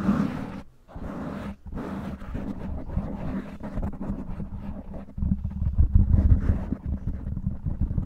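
Long nails quickly tap and scratch on both sides of a black foam windscreen covering a microphone. The result is a dense, muffled, low rumbling scrape with soft thumps, briefly dropping out twice early on. It grows louder and heavier in the lows for the last few seconds.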